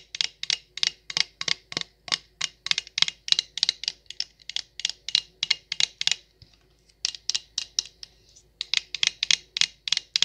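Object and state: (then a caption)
Stemless wine glass tapped with nails. Long acrylic nails tap rapidly on an empty, hollow stemless wine glass with a printed logo label, making about 39 short, bright clicks. The clicks come in quick, uneven bursts, with brief pauses near the middle and again shortly after. Each tap dies away almost at once, with only a faint glassy ring.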